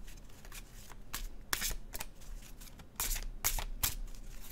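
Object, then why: Glossy cardstock card deck. A blue-edged glossy cardstock oracle deck is held in one hand and overhand shuffled, the cards sliding and flicking against each other. Quick, bright, papery bursts of hiss come in a loose rhythm over a quiet low background, each dying away almost at once.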